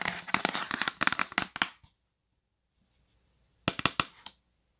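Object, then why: Cardboard box. A yellow printed cardboard gift box, held upright, is tapped rapidly with long pink nails. Bright, crisp clicks come in a dense flurry of taps for about two seconds, fall silent, then return in a shorter burst near the end.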